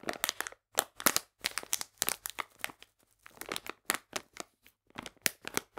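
Fingers squeeze and scratch the top of a full, printed plastic bag of polenta, making crisp, bright crinkling in quick bursts separated by brief pauses. The crackles are dry and sharp with almost no low end, and each one dies away almost instantly.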